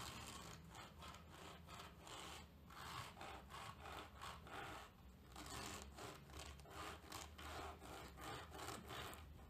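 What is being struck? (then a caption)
Terry cloth towel and plastic comb. A hand with long lilac nails presses the teeth of a wide-tooth tortoiseshell plastic comb into the pile of a grey terry towel lying on a table and scrapes it along. Repeated raspy, rubbing strokes sound in a steady rhythm, each a brushy burst with a bright edge over a low rumble.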